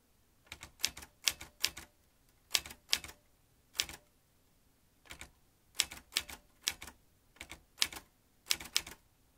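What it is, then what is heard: Metal manual typewriter. Fingertips tap the chrome-ringed keys of a vintage metal manual typewriter, each stroke driving a metal typebar with a sharp, bright clack that stops almost at once. The keystrokes come in quick bursts of two to four separated by short pauses, with almost no low end beneath them.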